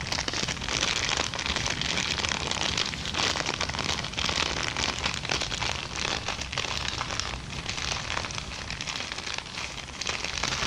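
An empty brown kraft paper bag is scratched and tapped up close with long dark-painted nails, then crumpled in the hands. The result is a dense, steady, bright crackling and rustling with quick papery ticks blending together throughout.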